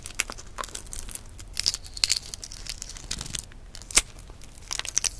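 A single hard-boiled brown egg, partly peeled with the white showing, is held close up while long nails pick at and peel off the cracked shell pieces. Dry, bright crinkling and tearing clicks crackle irregularly, with a few sharper snaps standing out from the soft rustle.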